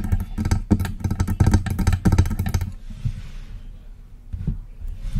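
Long press-on nails tap rapidly and scratch on the lower part of a hollow, silver metal USB desktop microphone. A dense run of boomy, low, clicking taps fills the first half, then fades into a soft, airy scratching before a few more taps return at the end.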